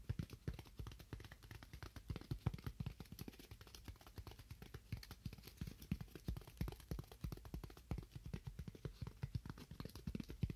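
Fingernails tap continuously on a styrofoam block, making rapid, dull, hollow thuds. The taps are short and low-pitched, die away almost instantly, and have very little brightness.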